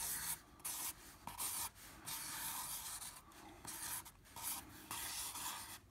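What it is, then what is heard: Felt-tip marker scribbling on drawing paper. A black felt-tip marker loops and scribbles across a flat 9x12 in. sheet of drawing paper held steady by the other hand, its tip rubbing the surface. The result is a bright, hissy scratching in quick strokes and bursts separated by brief pauses, with almost no low end.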